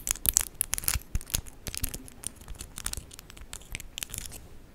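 Long pink acrylic press-on nails with charms on both hands, small and solid, tap and click against each other in front of a microphone. The result is a quick, irregular run of sharp, dry, bright clicks that stop instantly, with a faint scratchy texture between the louder taps.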